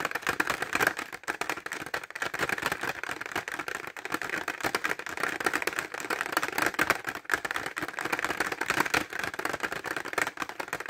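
Short fingernails tap rapidly on a clear plastic pencil case filled with pencils, held horizontally. The result is a dense, continuous stream of dry, clicky plastic taps centered in the midrange around 1.6 kHz, with almost no low end. Each tap dies away almost instantly, with faint rattling in between.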